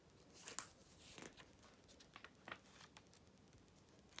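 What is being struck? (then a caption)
Glossy paper magazine. Fingernails and fingertips flip the thin glossy pages of an open July 2013 issue of Vogue, one after another, across text and photo pages. Quiet, crisp paper flicks and soft rustles stand out as short bright bursts, with the loudest snaps near the start and at the end.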